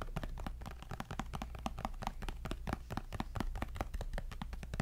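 A white-bezel glass-and-aluminium iPad tablet, thin and solid, is held upright near the mic and tapped rapidly on its screen and back with fingertips and nails. The result is a quick, steady stream of short, dry clicks and soft knocks that stop almost instantly, each with a low, thumpy body and a bright clicky edge.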